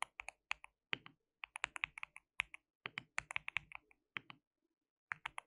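Fingertips of both hands type continuously on a white mechanical keyboard with plastic keycaps. The result is bursts of sharp, bright clicks with almost no ring, broken by short pauses.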